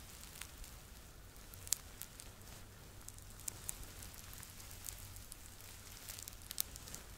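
Fingertips scratch and rub the fuzzy fabric body of a soft, stuffed yellow Teletubby Laa-Laa plush toy held against the front of a microphone. The result is a quiet, continuous crackly scratching with brief sharper ticks over a low hum.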